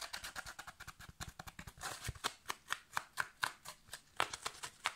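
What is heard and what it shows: A yellow foam kitchen sponge with a green scrub layer is scratched and squeezed with fingertips and nails. A quick, steady run of short, dry, scratchy bursts follows, with a crisp upper-mid texture and almost no low end. Each burst dies away almost at once.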